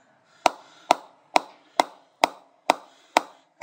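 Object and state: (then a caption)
Willow cricket bat being knocked in. A mallet with a round brown head knocks repeatedly on the face of a new GM Diamond 808 cricket bat with a solid willow blade, held by its rubber-gripped handle, in knocking-in style. Eight sharp, evenly spaced woody knocks are heard, each with a hollow mid-pitched tone, a bright crack at the onset and a brief fading tail.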